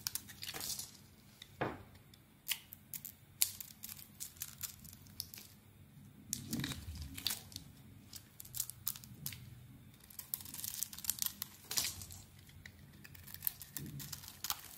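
A metal blade carves and scrapes powdery flakes off a solid rectangular cream bar of soap with red "Nature" lettering, held in the hand. Many short, bright, crisp scraping and crumbly crunching strokes are heard, with a few longer, lower swishing cuts between quiet pauses.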